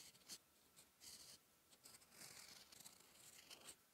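A steel fountain pen nib scratches strokes of Korean letters onto a thin sheet of lined writing paper lying flat. Quiet, bright, dry scratching comes in short bursts with pauses between strokes, with almost no low end and no ring after each stroke.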